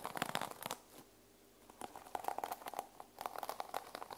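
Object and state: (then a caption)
Sequin-covered fabric journal. Fingertips and nails rub and scratch the teal sequin cover of a small sequin-covered fabric journal resting on a table. Quick bursts of crisp, crinkly scratching and bright clicking come in clusters, with a faint ringing tone near 730 Hz. A short quiet gap falls in the middle before the scratching resumes.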